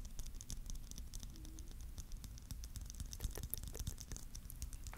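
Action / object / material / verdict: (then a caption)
tap / hollow clear plastic bauble filled with glitter / plastic / none. A palm-sized, hollow, clear plastic Christmas bauble filled with glitter is held in both hands and tapped and lightly scratched with fingertips and nails. A dense, steady patter of quick, bright clicks and soft scratches sits over a quiet, low, muffled rumble. Each tap dies away almost at once.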